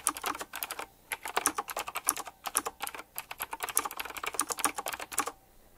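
Fingertips type fast on a retro typewriter-style mechanical keyboard with round plastic keycaps and chrome-rimmed metal edges. The result is a quick run of sharp, bright clicks and clacks with no low rumble, broken by a couple of brief pauses.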